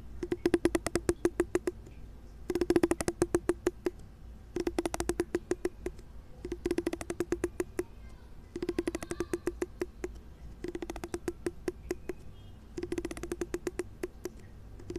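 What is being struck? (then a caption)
Plastic wide-tooth comb. A large pink plastic wide-tooth comb has its teeth plucked and strummed with a fingertip, giving seven bursts of rapid, crisp ticking clicks. Each click rings only briefly over a low, steady hum, and the strums carry a faint midrange tone.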